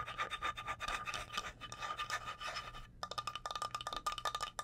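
Long blue acrylic nails rapidly scratch and tap the face of a flat, solid, light wooden cutting board, about 30 cm across, held up in the air. A dense, bright scraping texture runs for nearly three seconds, then pauses briefly before a quicker run of crisp, separate taps and scratches. A faint steady tone near 1.2 kHz sits under both sections.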